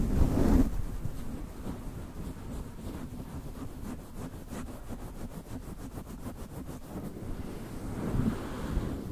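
Fingertips and short nails of both hands rub and scratch a soft, hollow grey-white fluffy faux-fur windscreen fitted over a Blue Yeti USB microphone capsule. The result is a dense, low, muffled rumbling rustle, louder at the start and end. Through the middle, a quick run of faint, brushy scratch strokes rises above the rumble.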